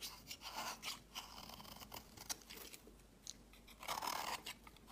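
A utility knife blade scrapes crumbly flakes off the edge of a solid, palm-sized pink-and-white striped bar of soap held in the hand. The result is a quiet, dry, bright crunching and scraping with short bursts of rasping strokes and very little low end.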